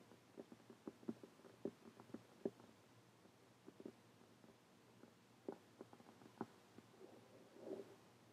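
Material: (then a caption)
Cardboard. Long painted fingernails tap a closed, dark printed cardboard hardcover journal with a bird design lying flat. Quiet, dull, short clicks come in quick clusters with pauses between, followed by a softer scratchy brush near the end.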